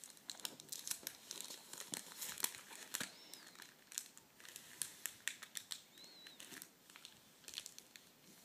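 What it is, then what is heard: Clear plastic packaging sleeve. Fingertips flatten and fold an empty clear plastic packaging sleeve with a cardboard header on a table. Quiet, bright, dry crinkles come in rapid uneven bursts of sharp snaps with almost no low end. Two faint, short, high gliding tones appear partway through.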